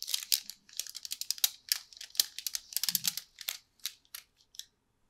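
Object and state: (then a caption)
Foil-wrapped chocolate bar. A long, triangular, solid Toblerone bar in aluminium foil, held flat on the palm, is tapped and scratched with long painted nails. The result is a rapid series of bright, crinkly foil clicks and scratches, with almost no low end, thinning out into a few separate taps toward the end.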